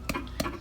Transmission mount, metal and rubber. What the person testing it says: i tapped it and you can hear it there's a smacking you hear that little knock